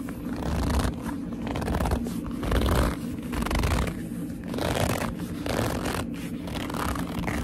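Fingers grip and squeeze the top edge of a hollow black leather handbag, producing repeated squeaky, creaking leather sounds. Low, rough rubbing swells in and out at a steady pace, with brief bright scratchy bursts between squeezes.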